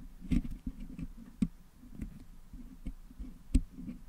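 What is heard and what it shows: Two wooden toothpicks pick and scratch at the putty packed into the metal mesh grille of a Blue Yeti microphone, close to its top, to clean the colored putty out. Soft, dull, low scraping and patter run throughout, broken by several sharp, short clicks with bright edges that die away almost at once.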